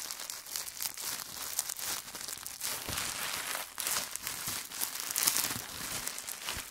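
A small crumpled wad of clear plastic bubble wrap is held in the hands beside the recorder and squeezed and crinkled with the fingertips to pop the bubbles. The result is a continuous bright, crackling crinkle with frequent sharp pops scattered throughout and very little low end.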